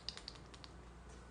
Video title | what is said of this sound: Anton’s Science #方安東 | if you like shake it the inside will kind of move as you can hear